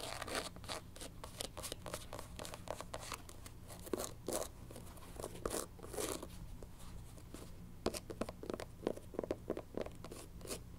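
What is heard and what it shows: Long nails tap and scratch the white rubber platform sole of a black canvas sneaker, first along the sole's sidewall and then across its tan textured bottom. Quick, dry clicks and short scraping strokes come in irregular fast and slow bursts, each dying away almost instantly. A steady low hum sits underneath throughout.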